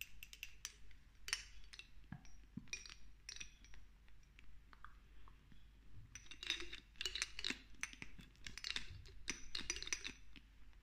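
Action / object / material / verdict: tap / small glass dropper bottle with dropper cap / glass / none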